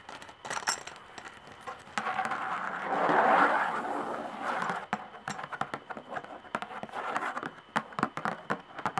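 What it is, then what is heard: Tambourine with a hide head. Long nails tap and scratch the hide head of a hand tambourine with a hollow wooden frame, metal jingles and tacks. Scattered sharp, dry taps give way to a steady scratching hiss that swells in the middle, then crisp irregular tapping returns with faint jingle brightness.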